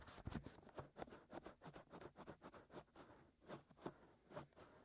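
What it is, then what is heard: Silicone ear of a binaural microphone being scratched. Both hands scratch inside and around the ear canals of the two white, soft silicone ears on a black 3Dio binaural microphone mounted on a tripod, using short fingernails and fingertips. About twelve quiet, close scratching and rubbing strokes rise and fall in a steady rhythm, each with a muffled low body and a faint bright edge. The scratches stop quickly with almost no ring.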